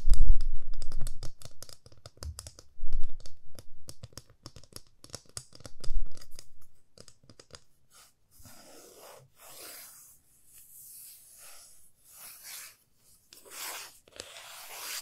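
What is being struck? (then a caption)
Wooden ruler. A 30 cm solid light wooden ruler, held in both hands, is tapped and scratched with long fingernails. For about seven seconds, quick, dense, dry clicking taps and scratches come with soft low thumps. The sound then falls to quiet, bright, hissy scraping strokes for the rest of the clip.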